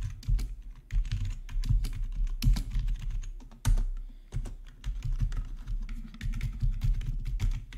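Fingertips type on the main keys and numpad of a black plastic, RGB-backlit gaming keyboard. The result is a steady stream of quick, overlapping key clacks with a dull, low-heavy thud and brief bright ticks. Each keystroke dies away fast, with a few louder presses standing out.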